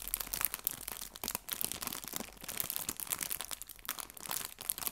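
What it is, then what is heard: Plastic bag of fabric leaves crinkled. A small, clear, thin plastic bag full of fake fabric leaves is crinkled between the fingertips and nails of both hands. The result is a steady, dense stream of bright, crackly crinkles with quick sharp snaps and almost no low end.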